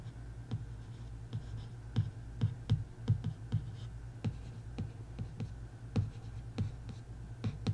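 A long nail traces and scratches across the cover surface of a bare printed hardcover book board. Short, dry scratching strokes repeat over a steady low hum near 105 Hz, each stroke ending almost instantly.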